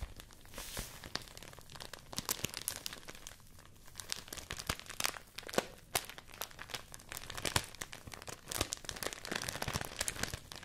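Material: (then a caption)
Rice paper. A folded stack of white rice paper is held up in both hands and crinkled and rubbed with fingertips. The result is a steady stream of dry, bright crinkling and crackling with sharp, quickly fading snaps scattered throughout and only faint low-end body.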